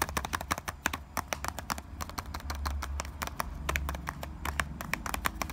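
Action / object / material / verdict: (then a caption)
tap / small cardboard box of bouillon cubes / cardboard / none. Fingertips and nails tap fast on the top of a small printed Knorr cardboard box of bouillon cubes, likely full, resting on a stone counter. A rapid, uneven stream of short, dry taps with a papery knock around 1.5 kHz and almost no ring plays over a steady low rumble.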